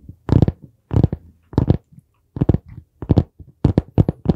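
Fingertips tap on the board cover of a dark brown hardcover notebook held upright beside the mic. The result is dull, low, muffled thumps in quick clustered bursts at an irregular pace, each dying away almost at once.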